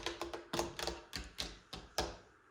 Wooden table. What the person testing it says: it looks heavy but it sounds Hollow